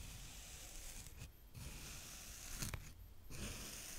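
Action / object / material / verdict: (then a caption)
scrape / kinetic sand raked with a small plastic rake / sand / none. A small green plastic rake held in the fingertips rakes and pokes through brown kinetic sand. Soft, gritty scraping and crumbling fill the clip with a steady low-level hiss and bright grainy texture, broken by two brief quieter pauses and a sharper scrape near the middle.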